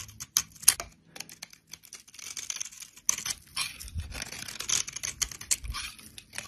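A solid bar of brown soap, held in the hand, has its surface cut into small cubes and scraped off with a utility knife blade, sending crumbly flakes falling. Quick, crisp, bright scraping and crackling strokes repeat irregularly, with short rough tearing sounds between brief pauses.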